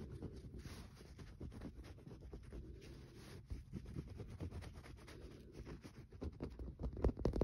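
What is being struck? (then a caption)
Bar soap. Fingernails scratch and tap a solid green bar of soap with a speckled, scratched surface. The result is a quiet, irregular run of soft, dull taps and brushing scratches, mostly low in tone with almost no ring, growing a little louder and sharper toward the end.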